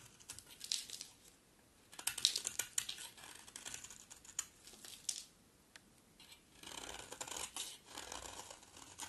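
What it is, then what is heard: Dry green bar soap being carved. A utility knife blade scrapes and carves a solid, dry green bar of soap, with flakes falling onto a pile below. Crisp, bright scratching and crinkling strokes come in quick bursts with short pauses between, all high and airy with almost no low end and no ringing after each cut.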